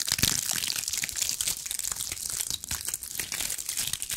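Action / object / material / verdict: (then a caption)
scrape / cluster of small pine cones / pine cone / none. A cluster of small, dry pine cones is scratched and squeezed with long acrylic nails, making a dense, continuous crackling and crinkling. The sound is bright and dry with almost no low end, and the tiny ticks run together steadily for about four seconds.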